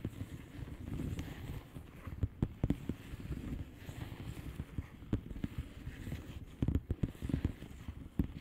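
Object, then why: Plastic bubble wrap mailer. Long painted nails of both hands tap and scratch across a blue plastic bubble wrap mailer lying flat. A soft, continuous scratchy rustle carries muffled, low thumping taps, with sharper dry clicks popping out here and there.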